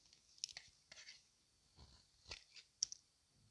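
A thin metal blade scrapes along the edge of a solid oval white bar of dry Palmolive soap held in one hand, with green soap bars and shavings lying untouched nearby. Several quiet, crisp scrapes and clicks sound in short separate bursts, almost entirely bright and high with no low body. Each one cuts off almost instantly.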